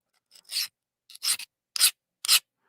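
A hard 20CV steel knife blade is scraped across a diamond plate in four short, separate strokes. Each stroke is a bright, glassy, skating hiss with almost nothing below 200 Hz, rather than a mushy grind. The skating sound marks the blade as hard, well heat-treated steel.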